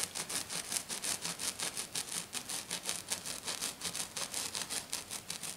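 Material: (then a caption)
Glitter plastic. Fingernails on one hand scratch fast across a flat silver glitter sheet lying on a table. About two dozen quick, bright, rasping strokes follow one another at a steady rhythm, each a short burst of high, crackly hiss with almost no low end.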